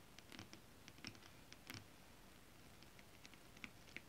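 Long acrylic nails scratch and then tap a flat holographic mermaid scale-print fabric. The result is quiet, brief, dry ticks and patters with bright clicky tops and almost no ring, spread irregularly over the clip.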